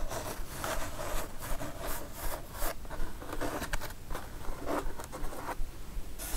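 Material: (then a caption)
Cardboard. Long nails scratch and tap across a kraft cardboard mailer box with both hands. A steady, fast, rhythmic rasping runs throughout, with short brighter scrapes and dull taps over a low, papery rumble.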